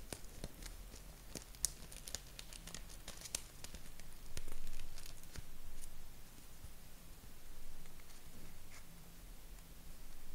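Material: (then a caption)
Paper. A small, thin purple paper square is held in both hands and crinkled and rolled up with the fingertips. Sharp, bright crackles and ticks come irregularly over soft rustling that swells louder at times, with a steady low hum underneath.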